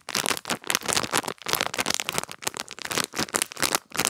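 A small clear plastic bag with a cardboard header and a pink gel-bead pad inside is crinkled and rubbed between fingertips and long nails. The result is a steady run of bright, crackly crinkling bursts with short gaps between them, mostly high in tone with almost no low end.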